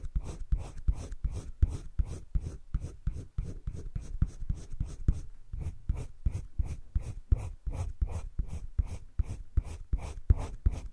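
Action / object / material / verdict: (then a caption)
scrape / colored pencil on paper sketchbook page / paper / none. A green wooden colored pencil held in the fingertips scratches and shades a flat sheet of drawing paper in a spiral-bound sketchbook. Dry, short back-and-forth strokes repeat at roughly three per second in a loose rhythm, each a brief rasp with a low, soft body and a faint bright hiss that stops almost instantly.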